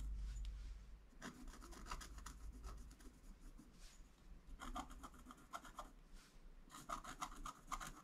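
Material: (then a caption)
Coated paper. A wooden stylus scratches vertical and horizontal lines into a flat, black-coated scratch art page. It makes bursts of quick, dry, raspy strokes with a bright edge, separated by short pauses, over a steady low hum.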